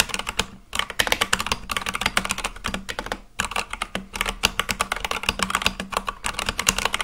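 Fast, continuous fingertip typing on a full-size Akko mechanical keyboard with white and light-blue plastic keycaps on a black case. It makes a dense stream of bright, sharp clacks with very short decay, broken by brief pauses near 0.6 and 3.3 seconds.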